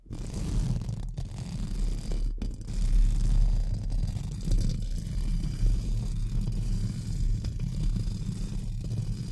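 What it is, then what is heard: Metal mesh microphone grille being brushed. Two pink spoolie brushes are scratched up and down and across a hollow, round metal mesh microphone grille. The result is a steady, dense scratching rumble, heavy in the low end, with brief drop-outs between strokes.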